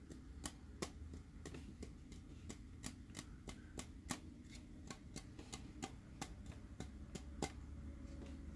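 Fingernails tap a clear plastic Dory glitter tumbler with a dome lid while it is held, giving a steady series of quick, sharp clicks. Each tap is short and bright with almost no ring, over a constant low rumble.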